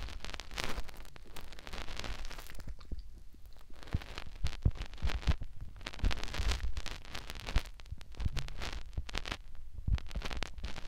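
Fingertips rub and scratch a white silicone ear mounted on a plastic binaural microphone. The result is close, crackly scratching and rustling in dense, uneven bursts over a heavy low rumble, with a brief quieter lull partway through.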